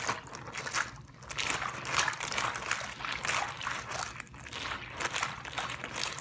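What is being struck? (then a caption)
Plastic zip-lock bag filled with water. A clear plastic zip-lock bag with a green seal, filled with water, is handled and crinkled with fingers. Bright, crackly plastic rustling mixes with soft sloshing and trickling of the water inside, rising and falling in waves throughout.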